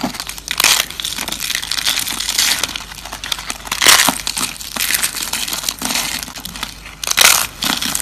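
Thin, flat, dried green soap slices are crushed and crumbled between fingers on a table. Dry, brittle crunching and crackling comes in uneven bursts, bright and crisp with almost no low end. Several sharper snaps stand out among the steady crinkling.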